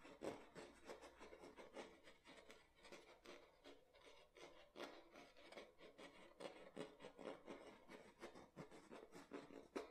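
Fingernails scratch and rub the ridged bottom of an empty clear plastic water bottle gripped in the hands, then the hands turn the bottle. The result is a steady run of quick, dry rasping and crinkling strokes, with a hollow midrange body and a bright, scratchy edge, rising and falling in loudness throughout.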